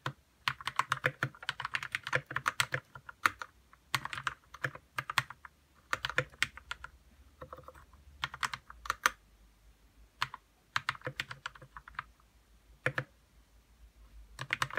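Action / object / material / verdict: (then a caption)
tap / plastic mechanical keyboard / plastic / none. Fingertips type on a white RK61 60% mechanical keyboard with plastic keycaps, lubed red switches and a hollow plastic case. Bursts of quick, dry plastic clacks come in irregular runs separated by short pauses. Each keystroke is short and bright and dies away almost at once.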